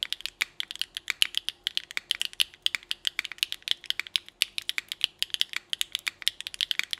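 A small Nuxros NR6 x VNMK mechanical keyboard with Hyacinth v2u, an aluminum plate and GMK Rainbow ABS keycaps is typed on continuously with the fingertips of both hands. About 54 quick, crisp keystrokes sound as bright, short clacks with almost no low end and no lingering ring. The keystrokes form a steady, uneven-rhythm patter of typing.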